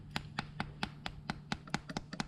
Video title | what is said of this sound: Hobby Rocketry - Glove Tip Charge Tutorial | you can hear that that's a pretty good amount of confinement